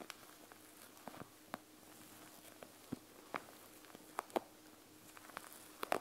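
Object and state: Plastic gel bead eye mask.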